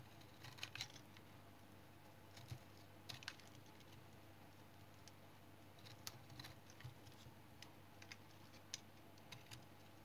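A small-bladed knife shaves thin flakes off a palm-sized, solid, light brown household soap bar held in the hand. Quiet, crisp scrape-cuts come in irregular bursts over a steady low hum, each one brief with a bright edge.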